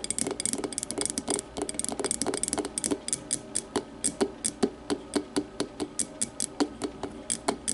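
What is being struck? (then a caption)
Glass tumbler. An empty clear glass tumbler lying on its side is tapped and scratched on its base with long matte nails in close-up. A fast flurry of clicky taps mixed with scratching gives way to more spaced, separate taps. Each tap is a short, bright click with a brief glassy ring around 420 Hz.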